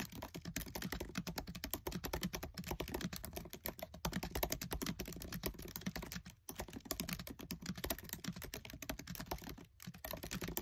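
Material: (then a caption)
Plastic. Fingertips with short nails type fast on the black plastic keys of a MacBook Air keyboard set in an aluminium body, making a dense, steady stream of short, dry clicks and taps. The clicks carry a soft low thump under a bright edge, with brief pauses near 6.5 and 9.7 seconds before the typing resumes.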